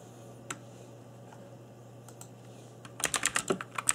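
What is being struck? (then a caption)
Mechanical keyboard with plastic keycaps. Fingertips in black nitrile gloves type on a cheap RGB-backlit mechanical keyboard with plastic keycaps. A single sharp key tap is followed by near quiet over a faint low hum, then a quick burst of bright, clacky keystrokes. Each click is short and dry with almost no ring.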